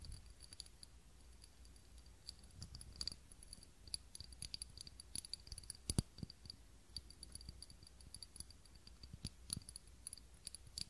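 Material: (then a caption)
Glass. Fingernails tap and scratch the outside of a small, clear, textured glass cup holding a lit tealight candle, held in both hands. Quiet, quick clicks and light scratching come with faint, high, glassy pings over a low background rumble, with a few sharper taps standing out.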